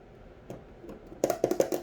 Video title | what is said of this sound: Wax HaulS - Yankee, Homeworx, Bath and Body Works, Goose Creek | you can even tell just by tapping on it